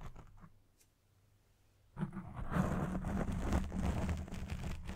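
Fingertips and nails scratch the top and sides of a black foam windscreen on a microphone. After about two seconds of near-quiet, a dense, close, rough scratching rises with a low rumbling body and brighter crackle, continuing steadily to the end.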